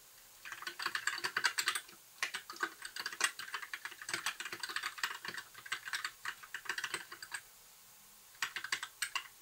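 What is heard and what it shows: Fingertips of both hands type continuously on a compact white mechanical keyboard with backlit plastic keycaps. Quick, bright plastic clacks come in rapid bursts, with brief pauses near two seconds and again before the end. Each keystroke dies away almost instantly, with no low-end body.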